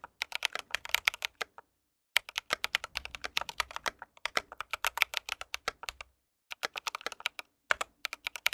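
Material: Plastic.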